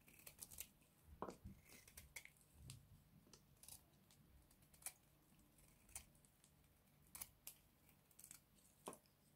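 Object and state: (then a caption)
Dry bar soap. A small box-cutter blade shaves along the edge of a hand-sized, white, solid bar of dry soap held in one hand, producing crumbly flakes. A quiet series of sharp, crisp scraping crunches and brittle cracks is heard, with bright, dry transients that die away almost instantly.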